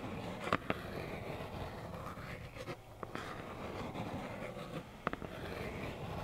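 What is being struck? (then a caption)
Cardboard tissue box. Long black acrylic nails scratch a small, hollow plaid cardboard tissue box, making a soft, continuous papery rasp. Six sharp, dry taps break through in pairs near the start, middle and end, with a faint hollow ring around 1.2 kHz.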